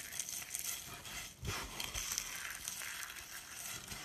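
Fingertips rub through a pile of lilac dry soap shavings and small curls, crushing the flakes between the fingers. A dense, bright crackling and crunching runs throughout, with sharp brittle snaps and a brief lull just before the middle.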